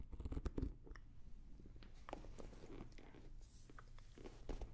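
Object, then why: Hard-shell zippered case with fabric-covered foam shell. A small blue starry-print hard-shell zippered carrying case, an EVA shell with a fabric cover, hollow and closed, is held near the microphones and tapped and scratched with long nails. Quiet, close, dull taps and soft scratching rustle with a low, hollow body. Brief louder bursts come at the start and again near the end.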